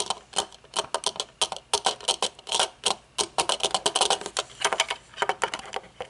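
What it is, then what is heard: Metal-frame sunglasses. Long nails tap quickly and unevenly on metal-frame sunglasses with dark tinted lenses, first as they rest on a table and then while they are held up. Each tap is a dry, bright click with almost no ring and nothing in the low end, forming an irregular clicking patter.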